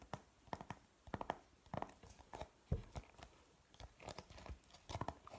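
A thin, flat printed cardboard periodic table chart is held in the hands and gets fast fingernail tapping and scratching on its front and back. Quick, dry clicks come in clusters over soft papery scratching, with low thumps under the brighter taps. Each tap dies away almost at once in a quiet, close space.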